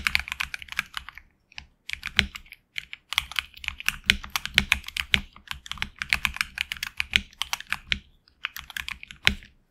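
Fingertips of both hands type steadily on a HyperX Alloy Origins Core tenkeyless mechanical keyboard with HX Red switches and grey and red PBT keycaps, resting on a deskmat. The keystrokes are quick, bright, clacky taps centered around 2.3 kHz, with very little low end and almost no ring after each press. Brief pauses break the typing near 1.5 and 2.8 seconds.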